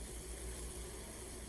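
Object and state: Nothing is struck.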